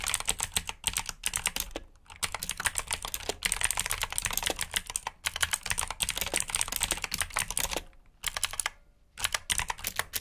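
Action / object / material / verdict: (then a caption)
tap / plastic mechanical keyboard / plastic / none. Fingertips type steadily on a black backlit plastic mechanical keyboard with blue switches, producing dense, bright, crisp clicks in quick bursts. Brief pauses break the typing, and each keystroke cuts off almost immediately with little low end.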